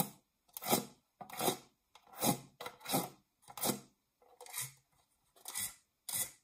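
Long nails scratch the textured base of a round, dark non-stick metal springform cake pan, held upright, hollow and empty. About eight separate rasping strokes sweep from a low rumble up into a bright, hissy scrape, each fading quickly with little ring.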